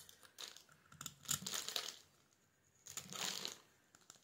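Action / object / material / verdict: scrape / bar of soap / soap / none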